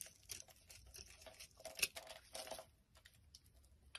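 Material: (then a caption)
Soap. A palm-sized, solid, translucent amber bar soap held in the hand is repeatedly shaved and scraped with a utility knife blade, with flakes falling off. Quiet, bright, crisp scraping and crackling strokes follow one another with a dry, papery texture and almost no low end or ring.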